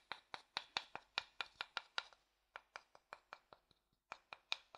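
A thin wooden stick stirs, scratches and taps the inside of an empty, pale, hollow wooden bowl. It makes 18 quiet, bright, dry ticks with almost no ring and no low end, coming in a steady run with a short pause in the middle.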